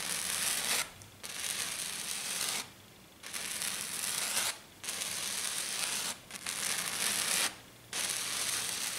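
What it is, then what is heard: Silver glitter foam sheet. Long dark nails scratch fast across a flat silver glitter sheet, probably glitter foam, making a bright, dry, sanding-like hiss with almost no low end. The scratching comes in steady bouts separated by brief pauses.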